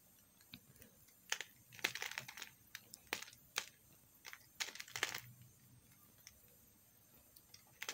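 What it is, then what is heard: Soap bar being shaved. A small solid chunk of pink soap held in the fingers is scraped and shaved with a metal knife. Short, crisp, bright scraping strokes come in irregular bursts, each dying away almost instantly over a quiet background.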